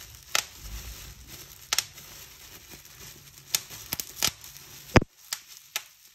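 Fingertips and long nails pinch and pop the air-filled cells of a clear plastic bubble wrap sheet along a folded edge. Ten sharp, bright pops stand out over a soft, steady crinkling rustle. The biggest snap comes near the end, after which the background goes almost silent apart from the last few pops.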